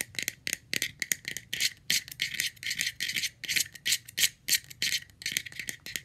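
A round, palm-sized, light blue hollow plastic screw lid, off its jar, is tapped rapidly on its top and rim with long red-painted nails. The result is a quick, uneven stream of dry, bright clicking taps with a sharp edge around 2 kHz, each dying away instantly with no ring.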